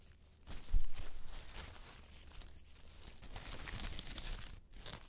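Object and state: Dry autumn leaves crumpled.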